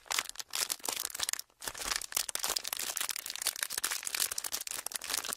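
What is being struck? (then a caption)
Thin plastic sheet. A small, thin, folded and pleated sheet of clear, empty plastic is held in both hands while fingertips squeeze, crinkle and rub it. This makes dense, bright crackling and crinkling with little low end and a brief lull around the middle.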